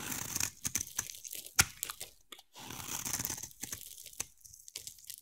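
A hand-sized solid blue bar of soap with white stripes is scraped and carved with a utility knife blade held by long-nailed fingers, the same bar throughout. Bright, dry crunching and scraping come in quick, uneven strokes with sharp clicks. There is a brief near-silent gap partway through before the carving resumes.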